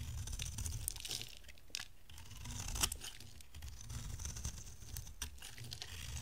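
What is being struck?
Bar of soap.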